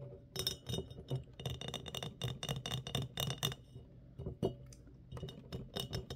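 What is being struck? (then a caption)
Glass mason jar with metal lid. A medium, clear, embossed glass mason jar with a metal screw lid, hollow and empty, is held upright and tapped on its sides with fingertips and short nails. The result is a quick, irregular run of bright glassy clinks and ticks over a soft, low thump, each dying away almost at once.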